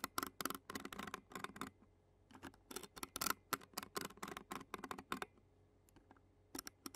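The tines of a clear plastic fork scratch across the black metal mesh microphone grille of a handheld Zoom recorder. The result is quick, bright, raspy bursts in irregular clusters with short quiet gaps between them. A faint metallic tint sits near 1.4 kHz, and each stroke stops dry with almost no ring.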